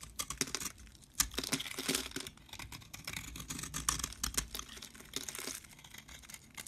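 A metal blade scrapes crumbly shavings off a solid cream-colored soap bar held in the hand. The clip is a quick run of dry, bright scraping and crackling strokes, with soft crumbling in between.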